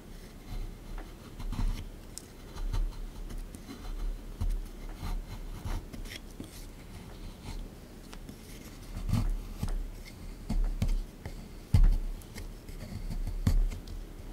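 A small plastic pick tool scrapes a plaster block sitting in a tray, where a fossil outline is emerging. The result is a quiet, low, gritty scratching in irregular bursts, with a few sharper scrapes and faint clicks rising above it.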